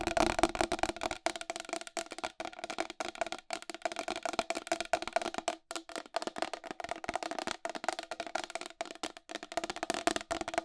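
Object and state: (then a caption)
Plastic wall clock, tapped with nails. Long pink acrylic nails tap rapidly on the face and rim of a round white plastic wall clock with a hollow case and raised numerals. The result is a dense, continuous run of sharp, dry clicks with almost no ring and a hollow tone around 330 Hz, with little low end.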